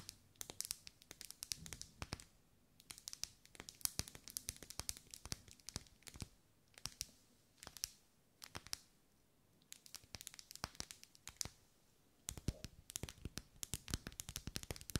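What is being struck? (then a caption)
Wax pillar candle. Long nails scratch and tap along the vertical ribs of a lit, hand-held pink pillar candle of solid ribbed wax. The result is quick bursts of crisp, bright clicks and dry scratching that stop dead with no ring, broken by short quiet pauses.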